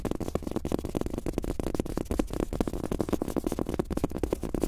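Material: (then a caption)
Rubber, fabric. Fast fingertip tapping with both hands on a large, thin, soft fabric-top rubber desk mouse pad with a world map print, lying flat. The taps come as a rapid, steady stream of soft, dull thuds, with mostly low-mid body and almost no bright edge. Each tap dies out almost instantly.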